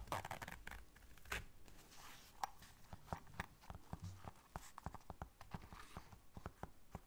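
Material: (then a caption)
Fabric. A small round black fabric zipper case is held in the hands while long dark nails zip it and scratch across it. Quiet, dry zipping rasps and scratchy ticks follow one another, with a run of sharp, quick clicks in the second half that stop almost instantly.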